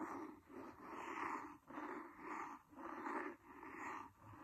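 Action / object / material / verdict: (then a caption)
scrape / cloth-covered hardcover book scratched with a wooden pencil / cloth / none. A wooden pencil scratches along the cloth cover near the spine of a large, solid, red cloth-covered hardcover book. It makes a steady run of soft, rasping strokes that swell and fade one after another. The scratching has a papery mid-range texture with little low end.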